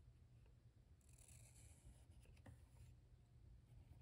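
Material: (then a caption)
Paper. A black felt-tip marker draws curved strokes near the bottom of a white paper page in a spiral-bound sketchbook, its tip rubbing across the paper. Soft, bright scratchy strokes come and go, strongest in the middle of the clip, over a steady low background hum.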